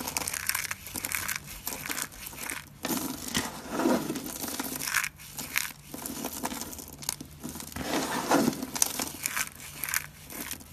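Bare hands grab and crush handfuls of brittle, solid dry soap flakes from a pile of green, cream and red flakes. Dense, dry crunching and crackling bursts come in several waves, full of bright, high crackle with little low end.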